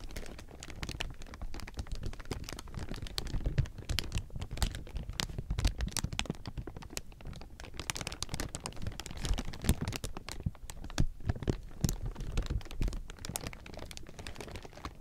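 A large pile of thin, clear, soft plastic sheeting is crumpled and squeezed with fingertips and palms. It makes a dense, continuous crinkle of sharp crackles that reach into the highs, over a low handling rumble. The crinkling swells and eases in intensity throughout.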